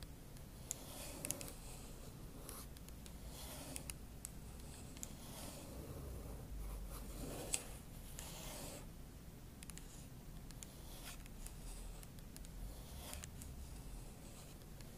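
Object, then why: Aluminum laptop palm rest. Long acrylic nail tips scratch the aluminum palm rest near the trackpad of a silver aluminum MacBook Pro body. The result is quiet, steady scratching and rubbing strokes with a bright, hissy edge and a few sharper light ticks, over a low background hum.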